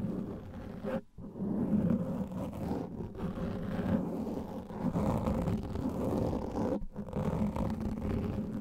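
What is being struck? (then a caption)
Foam microphone windscreen. Fingertips and nails scratch across the top and sides of a large black foam microphone windscreen. The result is a dense, muffled rumbling and rustling texture with most energy in the low range and almost no high treble. It breaks into brief silences near the one-second mark and again near seven seconds.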